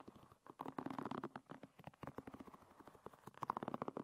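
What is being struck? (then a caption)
Wooden pin bristles of a hairbrush. A fingernail flicks and scratches along the wooden pin bristles of a hairbrush. It makes a quiet, fast, irregular stream of dry clicks and short scratchy rasps, centered in the midrange around 1 kHz with little low end. The clicks come in clustered bursts with brief pauses between them.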